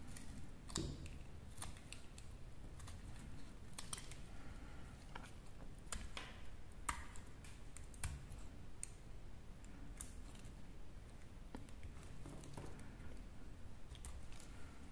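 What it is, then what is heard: Dry soap bar being cut. A hand-sized, solid white and red dry soap bar is held in the hand and scraped and cut with a small metal blade. The result is a quiet series of short, dry, crisp clicks and scrapes with a bright edge, each dying away almost at once, over a steady low rumble.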